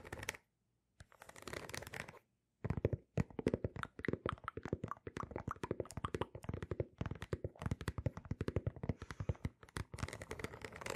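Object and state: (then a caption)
Rubber sneaker sole. A single sneaker is held sole-up between two microphones while long nails scratch and tap its patterned rubber outsole. Rapid, dry, closely spaced clicks and scrapes come in quick bursts, with short silences near the start. Each tap dies away almost instantly.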